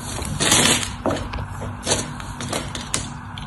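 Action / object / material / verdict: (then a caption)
scrape / bar of soap / soap / none. A utility knife blade carves and shaves the top edge of a solid, dry cream-colored bar of soap held upright, breaking off crumbs. Crisp, bright scraping crunches come in uneven bursts, the loudest near the start, over a faint steady low hum.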